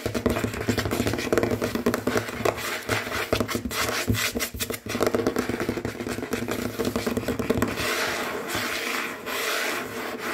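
Fingernails and fingertips tap and scratch fast and hard across a large, solid, dark glossy tabletop that appears to be wood or wood veneer. It makes a dense, continuous stream of quick clicks mixed with dry, raspy scraping at a steady, fairly loud level. Toward the end it shifts to more hissy, brighter scratching.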